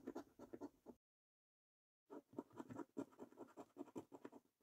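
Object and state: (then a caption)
Paper scratch card being scratched. A coin edge scratches the latex-coated panels of a thin, flat paper scratch card in quick, rasping strokes. The scratching stops for about a second of silence, then resumes in a longer run of dry, papery scrapes that sit mostly in the low-mid range.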